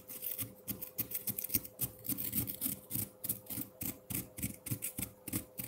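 A metal fork held in the fingers scrapes and shaves the surface of a solid block of frozen pineapple-milk ice in a white ceramic bowl with red and dark jelly pieces. The scrapes come in quick, uneven strokes, about three or four per second, each a bright, high, gritty rasp over a low rubbing body. A faint steady hum runs underneath throughout.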